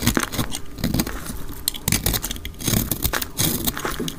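A solid pink-orange dry soap bar with yellow specks, held in the hand, is scraped and cut with a utility knife blade, sped up to double speed. Quick bursts of dry, crackly scraping and crumbly cutting repeat throughout, with a low, thudding body and bright, brittle crackle on top.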